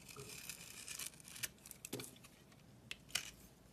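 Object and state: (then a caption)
Bar soap being shaved. A utility blade shaves the red textured coating off the edges of a solid bar of soap with a brown core. Bright, crisp scraping and shaving rasps run through the first second, followed by several sharper flicks and scrapes as the blade cuts along the edges. The sound is quiet overall and sits mostly in the high, papery range.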